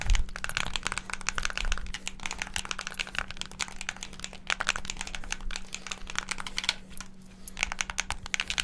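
Fingertips and thumbs rapidly press the buttons and sticks of a hand-sized, hollow black plastic Xbox game controller. A dense, continuous stream of sharp plastic clicks and rattling taps rings bright, with quick bursts and brief lulls. A faint steady low hum runs underneath throughout.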